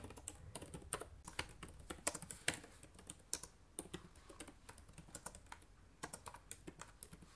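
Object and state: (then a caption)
Plastic laptop keyboard being typed on. Fingertips and nails type rapidly on the plastic keycaps of a black laptop's keyboard. The result is a quiet, steady stream of short, dry clicks and taps with bright, crisp highs and no ring, some keystrokes sharper and louder than others.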